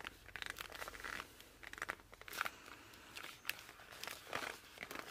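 Both hands grip and rub the glossy laminated cover of a small, thick cardboard children's board book, "I Love You Through and Through," with fingertips and palms. The friction makes bright, short squeaks and scratchy rubs in quick uneven bursts, with very little low end.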